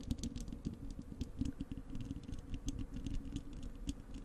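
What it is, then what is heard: Metal mesh microphone grille. Long acrylic nails of both hands scratch the bare, hollow wire-mesh metal grille of a large desktop microphone. A dense run of quick, dry ticks and scrapes patters with a low, boomy body around 250 Hz and faint bright clicks on top. The sound stays fairly steady and quiet throughout, with no ring after each stroke.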